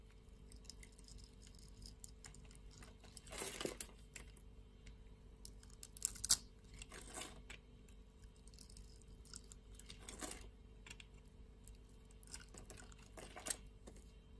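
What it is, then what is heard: Soap bar being shaved. A metal utility blade shaves and scrapes scored flakes from a solid purple soap bar held in the hand, leaving crumbs on the surface. Soft, bright scraping and crumbly crunches come in short bursts over a quiet background hum, with sharper peaks around the middle and end.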